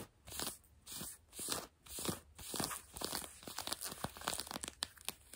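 Long French-tip nails on both hands scratch grey-blue denim jeans stretched over a bent knee. Slow, broad rasping strokes give way to quicker, shorter scratches. The sound is bright and hissy, with little low end.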